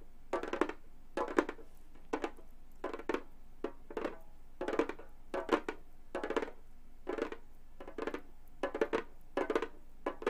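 Long gold metal claw tips on both hands tap and scratch the synthetic skin head of a flat, hollow Remo frame drum, possibly with faint metallic jingles from chained hand jewelry. Quick clusters of dry, hollow taps with a mid-pitched body around 350 Hz recur throughout, each dying away almost instantly between quiet gaps.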